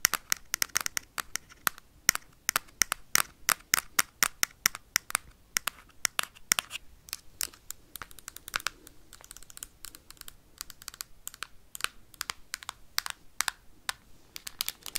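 Metal paperclips tap and scratch quickly on the back and edges of a Nintendo Switch console's hard plastic casing. Dozens of sharp, bright clicks and scrapes come in a rapid, uneven stream, each dying away almost instantly, with almost no low end.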